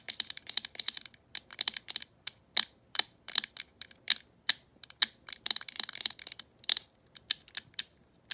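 Long pointed acrylic nails scratch and tap the surface of a green glossy hollow plastic rotary phone handset held above the phone base. Quick, dry, bright clicks and scratchy bursts come in uneven clusters with short pauses between them. Each one stops instantly, with almost no low end.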